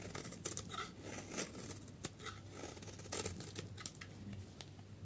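A solid yellow dry soap bar held in the hand has its face shaved with a utility knife blade, producing flakes. Short, dry scraping and crackling strokes come in quick succession, with bright, hissy high-end texture over a faint low hum.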